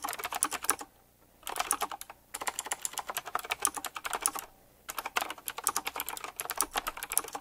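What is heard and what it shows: Fingertips type quickly on a full-size typewriter-style mechanical keyboard with round black plastic keycaps, chrome-look rims and a metallic frame. Three bursts of rapid, bright, crisp clicks are separated by brief pauses of near silence.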